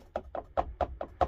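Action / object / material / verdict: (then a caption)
tap / wooden door paneling in a van / wood / loose. Six taps on loose wooden paneling on a van's side door, each a short, hollow knock with a bright midrange tone that rattles briefly. The loose spot will be secured with a self-tapping metal screw to stop the rattle.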